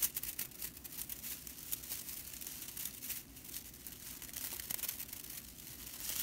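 Long nails scratch and flick the tips of a whisk broom's dry straw bristles. The result is a quiet, steady, bright, dry crackling rattle, with brief crisp flicks scattered through it and little low end.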